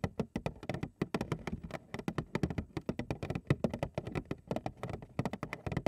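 A large printed cardboard Frosted Flakes cereal box, hollow and of unclear fill, is held upright in both hands while long acrylic nails tap and scratch its front panel. The result is a dense run of quick, dry clicks and taps with soft scratching between them, full in the low range and crisp at the attacks.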